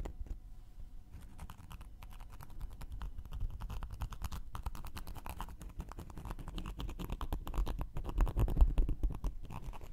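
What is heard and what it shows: A round, flat, solid cork coaster is held in one hand while its surface and edge are scratched and poked with a thin wooden knitting needle. The result is a dense, uneven stream of short, dry scratching and tapping sounds with a low, muffled body. The sounds grow slightly louder toward the end.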